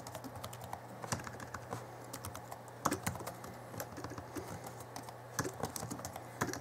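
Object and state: Plastic laptop keyboard.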